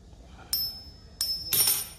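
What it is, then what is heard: Fake silver coins (silver-plated copper). Several silver-plated copper dowry coins being clinked together. Three bright, high-pitched metallic clinks ring briefly over a low background hum. The coins are fake silver: the tone floats rather than sinking like real silver, and copper shows beneath the white plating.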